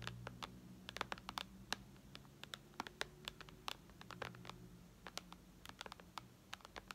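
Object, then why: Glass tablet touchscreen. Long red nails tap rapidly on the glass touchscreen of a white iPad lying flat, producing about thirty-five quick, bright clicks with almost no ring. The taps come in uneven bursts over a quiet, steady low hum.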